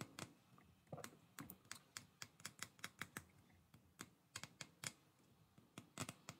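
Fingertips strum and flick along the rows of long plastic bristles on a black plastic hair brush held close to the microphone. The result is a quick, irregular series of about two dozen short, bright, crackling scratches. Each one snaps off almost instantly, over a quiet background.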